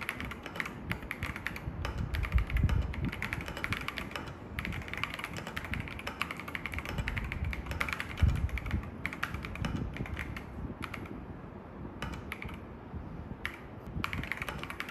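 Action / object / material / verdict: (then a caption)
tap / mechanical keyboard with plastic keycaps / plastic / none. Fingertips type rapidly during a typing test on an assembled mechanical keyboard fitted with AKKO V3 Cream Yellow Pro switches, with grey, white and yellow plastic keycaps in a dark metal case. A dense, steady stream of short clacks carries a deep, thocky low end, with bright key clicks on top and brief pauses between bursts.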